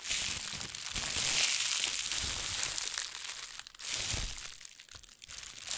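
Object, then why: Thin plastic shopping bag. A thin white plastic shopping bag is partly inflated and pressed flat under a palm, then deflated, crumpled and scrunched between fingertips with painted nails. It makes a continuous, bright, dense crinkling and rustling, with low thumps of pressure. The sound briefly drops away near the four-second mark, then the crackling returns more softly before building again.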